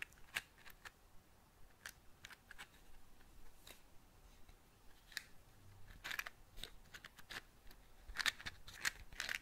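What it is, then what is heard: Cardboard matchbox. A small patterned cardboard matchbox is moved around close to the mic and tapped and scratched with long nails. Quiet, sharp, bright clicks and dry scratches come in a scattered series of about twenty taps over a low hiss, with no ring after each one.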